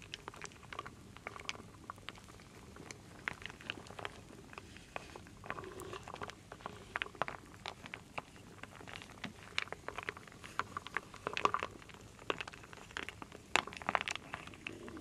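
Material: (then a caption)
Wood. A wooden spoon, held by a hand with long nails, stirs a full wooden bowl of small solid wooden beads and acorn pieces. Dense, quiet clicks and rattles patter continuously, with sharper bright knocks standing out now and then. Each tap dies away almost instantly.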